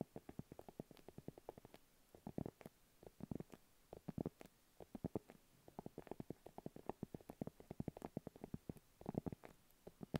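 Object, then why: Padded faux leather makeup pouch. A small, round, hollow pink padded faux-leather makeup pouch, held in both hands, is tapped and scratched with long acrylic nails. The result is a quiet, steady stream of soft, dull taps with a low body, broken by brief scratchy bursts.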